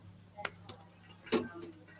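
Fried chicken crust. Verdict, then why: Crispy. Freshly fried and drained buttermilk fried chicken gives three short, sharp crackles, the last one fuller and slightly longer, over a quiet low hum. The crunch shows how crispy the chicken is.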